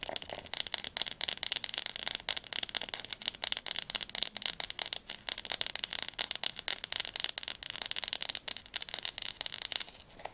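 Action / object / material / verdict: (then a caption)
tap / hardcover book spine / cardboard / none. Long nails tap rapidly on the glossy spine of a blue Diercke Weltatlas, a large, solid hardcover school atlas held upright. The taps are dry, bright clicks with almost no low end and no ring. They form a steady, dense, fast patter across the whole clip.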